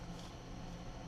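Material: Nothing is struck.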